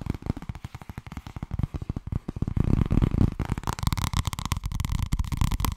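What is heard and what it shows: Long red nails rapidly tap a purple, thin, medium-size softcover paperback of solid paper held near the mic, making quick dull, low thumps. They shift into scratching across the cover while fingers riffle the page edges. The sound builds to a denser, steadier rustle with a brighter papery texture in the second half.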